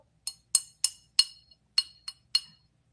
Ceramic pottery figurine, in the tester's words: She's got the dull thud.